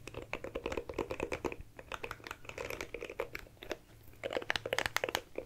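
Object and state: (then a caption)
Plastic compact hairbrush. A small oval dark plastic compact hairbrush, held in one hand, has its plastic bristles and body scratched rapidly with long nails. The result is a fast run of dry, bright clicks that sound like typing, each tick dying away instantly. The clicks come in quick bursts, dip briefly, and then return louder and sharper.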